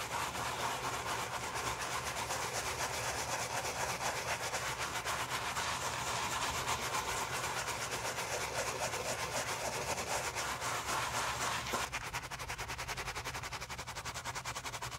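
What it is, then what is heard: Leather shoe scrubbed with a bristle brush. A navy pebbled leather Tod's driving loafer with a rubber-nub sole, held in a gloved hand and covered in soap foam, is scrubbed with a wooden-handled bristle brush. Fast, steady back-and-forth strokes make a continuous, bright, hissing scrub centred around 1 kHz. The scrubbing eases slightly softer near the end.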